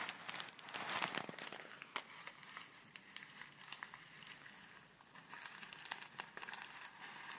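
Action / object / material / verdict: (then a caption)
shake / plastic zip bag filled with foam beads / plastic, foam / none. A full, small clear plastic zip bag of tiny colourful foam beads is squeezed, crinkled and shaken in both hands, held by long red nails close to the microphone. Bright, dense crinkling and crackling come in quick bursts, loudest near the start and again toward the end. A softer, quieter rustle sits between them.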